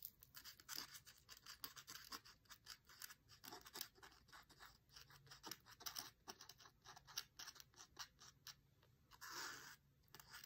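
A long, thin dried grass stem held in the hand is scratched back and forth across a white printed text page of an open cookbook. The result is a quiet, steady run of crisp, hissy scratching strokes, mostly high-pitched, with a slightly longer, brighter rasp near the end.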